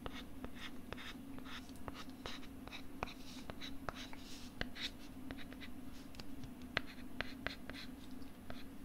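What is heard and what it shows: A stylus writes and scratches across a pink plastic LCD writing tablet held at the right ear of the microphone. Soft, dry scratching runs throughout, broken by frequent sharp, brief ticks that die out instantly, over a steady low hum.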